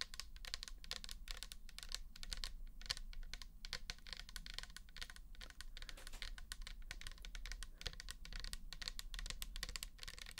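Long nails tap fast around the shoulder and label of a pink plastic toner bottle holding liquid. The result is a dense, steady stream of short, bright, clicky taps over a low, constant hum.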